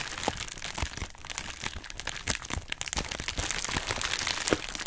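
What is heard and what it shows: A hollow pink heart-shaped plastic bubble wrap mailer bag is held in both hands, crinkled and scratched with long nails. Dense, bright crackling and crinkling continue throughout, with sharp short snaps scattered among them.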